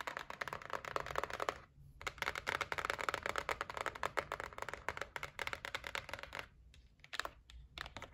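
Long nails tap rapidly across the top and edge of a white cardboard gift box resting on a table. The taps are quick, dry and clicky, bright and papery with almost no low end, and each dies away instantly. They come in dense flurries, broken by brief pauses at about 1.8 and 6.6 seconds.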